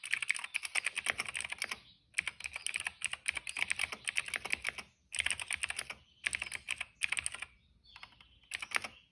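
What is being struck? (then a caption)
Plastic mechanical keyboard keys. Fingertips of both hands type steadily on a retro-style cream plastic mechanical keyboard with a hollow case and dark and purple plastic keycaps, resting on a rug. Rapid, bright, clacky key taps come in bursts separated by short pauses, each tap dry and short with almost no low end.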